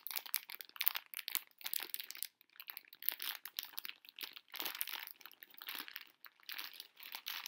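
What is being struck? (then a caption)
Plastic-film candy bag. Fingers with long nails crinkle a full pink plastic-film candy bag of conversation hearts held up in the air. Dense, bright crackling bursts come in quick clusters, with almost no low end and brief gaps between the crinkles.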